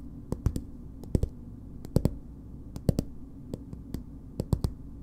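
Long nails tap and scratch a green plastic BB cream squeeze tube, giving 18 short, dry clicks in small clusters of two or three. The taps are soft and low-weighted, with no ring after each hit, over a steady low hum.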